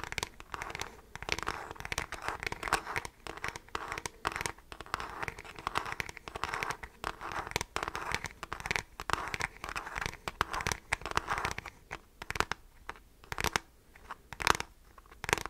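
Fingertips and nails scratch the hollow beige plastic back of a handheld device, likely a graphing calculator, held horizontally. The result is a dense run of crinkly, crackling scratches with bright, high edges and a few sharper louder strokes toward the end.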